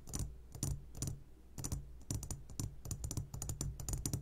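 A medium glass jar full of sugared gummy candies, turned upside down, is tapped on its sides with the short fingertips of both hands. Quick, dry clicks with a bright top come in uneven bursts, each dying out almost instantly over a low hum.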